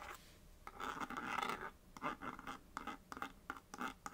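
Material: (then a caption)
Cardboard. Long nails scratch quickly over the face of a small, hollow printed paperboard box held on a knit surface, tracing letters. The result is a run of short, dry scratching bursts with a papery midrange rasp centered near 1.3 kHz, some brighter edges and almost no low end. Each stroke cuts off with no ring.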